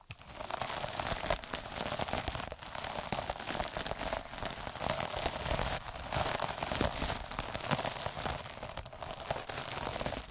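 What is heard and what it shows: Fingers roll a black derma roller with metal needles across the surface of an iridescent, sparkly plastic mesh scrub sponge. The result is a steady, dense crinkling and crackling that stays bright, with quick ticks and light scratchy bursts running through the whole clip.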